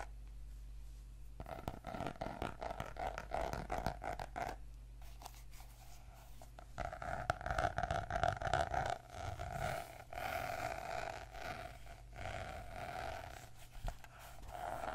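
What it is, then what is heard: Notebook with laminated cardboard cover. Fingertips and nails tap and scratch the glossy laminated cardboard cover of a purple notebook with a solid paper block, first while it lies on a table and then while it is held up. Quick, uneven bursts of soft, dry taps blend into rasping scratches with a mid-pitched hiss, quiet throughout with denser, louder stretches in the middle.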